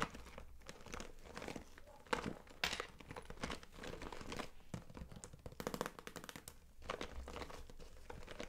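A clear daisy-print PVC vinyl cosmetic bag, held upright and full of brushes and compacts, is scratched and rubbed across its front by long nails and fingertips. The plastic crinkles and crackles in a steady run of quick, dry scrapes, with a few sharper taps standing out.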